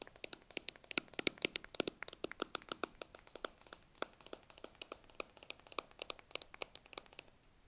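A small, hollow white plastic tub with a blue plastic lid is held in both hands while fingers and nails tap and scratch its labelled sides and lid. About 43 sharp, bright clicks and ticks land in a quick, irregular run, each dying away almost instantly with very little low end. A faint scratchy texture sits between the taps.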